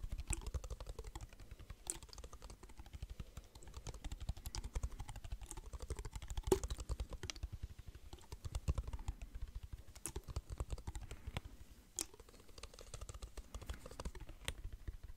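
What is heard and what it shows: Fingertips tap quickly on a clear plastic water bottle with water inside, held close to the mic. A dense, steady stream of soft, hollow, low-pitched taps with light clicky edges runs throughout, with a few sharper, brighter knocks standing out.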